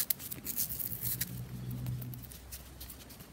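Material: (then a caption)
Pressed powder. Fingernails scratch and rub the curved surface of a solid, palm-sized spherical bath bomb of pressed powder held in one hand. Quick, irregular bright scratching and tapping sounds over a steady low hum, at a quiet level.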